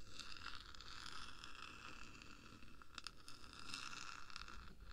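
Long acrylic nails from both hands scratch and tap along the top of the hollow black metal body of a 3Dio binaural microphone, about 10 cm long. The result is a steady, quiet scratching with a ringing tone near 1.4 kHz and bright, crackly overtones, plus a rumbling low-end wash. Short, sharp taps stand out, especially around the three-second mark.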